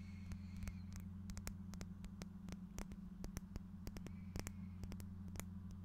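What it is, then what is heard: Small faceted glass object. A small, clear faceted glass piece held up in the fingers is tapped with fingernails, making a quick, irregular series of sharp, bright clicks that stop almost instantly. A steady low hum runs underneath throughout.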